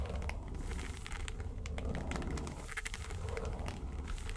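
Long nails scratch and tap the lid of a small, hollow, yellow textured faux-leather makeup suitcase. The result is a steady run of crinkly scratching and short, bright clicks over a low, dull rumble that lasts the whole clip.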